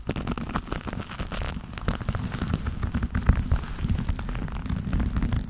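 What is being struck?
Leather gloves.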